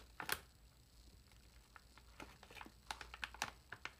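Fingertips and long nails scratch and crinkle along the sealed top edge of a large, air-filled, foil-lined metallized plastic potato chip bag as it is turned over. Quiet, sharp, bright crackles and scratches come in irregular bursts over a soft background hiss, each dying away almost instantly.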